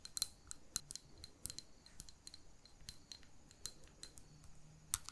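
Long painted fingernails tap a small glass jar holding a lit wax candle, with a ribbon tied at its neck and the jar partly filled with solid wax. The taps come as quick, uneven, bright clicks with a high glassy ping and almost no ring, over a quiet low background.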